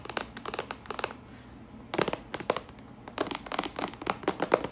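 Long nails tap on the lid and sides of a clear plastic compartment organizer box full of washi tape rolls, lying flat with the lid closed. The sound is a quick, dry clicking that comes in bursts, with short pauses between the runs of taps.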